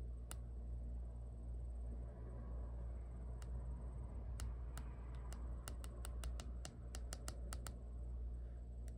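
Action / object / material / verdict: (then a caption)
tap / hard plastic phone case / plastic / none. Long blue-and-yellow nails tap and scratch the back of a black printed hard plastic phone case with white line art and a clear MagSafe ring, fitted on a phone and seen in a mirror. Sharp, bright clicks come at irregular intervals, sometimes in quick clusters, over a steady low hum that dominates the clip.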